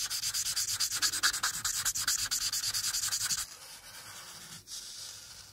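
A hand moves a marker in steady rubbing strokes over a thin printed paper coloring page lying flat, coloring in the blue background. Quick, regular back-and-forth strokes make a bright, scratchy hiss for about three and a half seconds. The sound then drops to a softer, quieter rubbing until the end.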